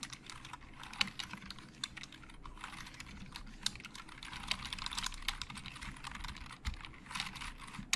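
Fingertips of both hands type rapidly on a hollow black plastic Logitech keyboard, producing a dense stream of short, bright, clicky keystrokes that stop dead with no ring. Occasional sharper, louder key strikes stand out over a faint low background rumble.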